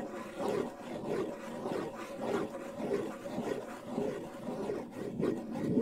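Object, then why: Wooden bongo drum with skin head. Fingers rub and scratch the shell and skin head of a hollow wooden bongo drum. A continuous, rough scraping rasp rises and falls in slow, uneven strokes about twice a second, with a warm midrange body and little bright top.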